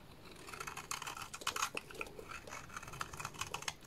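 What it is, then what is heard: Bar of soap being scraped. A small dark blade scrapes across a solid purple bar of soap, shaving off fine powder and curls. Dense, crisp scraping ticks and rasps cluster in the bright upper range with almost no low end. Each stroke decays quickly over a faint, steady hiss.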